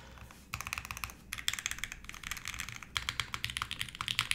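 Fingertips type on a red-cased 60% mechanical keyboard with white plastic keycaps and an aluminum plate. After a brief quiet start, bursts of short, bright, clacky keystrokes follow in quick runs with small pauses between them.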